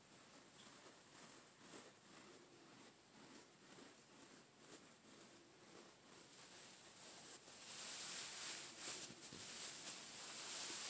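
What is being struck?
Nothing is struck.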